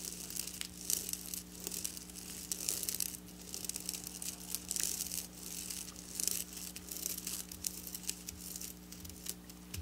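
Long black nails scratch and rake across silver sequin fabric with both hands, producing continuous bright, crinkly rasping bursts that rise and fall in waves. A steady low hum sits underneath throughout.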